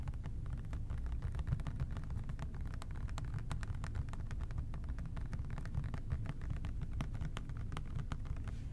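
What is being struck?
Plastic spray bottle.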